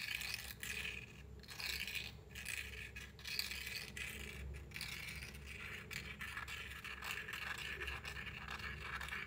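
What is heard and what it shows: A wooden matchstick scratches along the rough striker strip of a small cardboard matchbox held in one hand. The result is a steady, bright, gritty scraping with short rasping strokes over a faint low hum.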